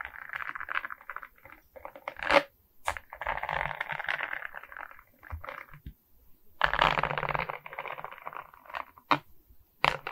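A larger Mickey diamond painting made of resin rhinestone beads on a frame is scratched and tapped with long nails across its beaded surface. Bursts of dry, crackling scrapes in the midrange alternate with sharp, bright taps that cut off almost instantly. Several brief near-silent pauses fall between the louder passages.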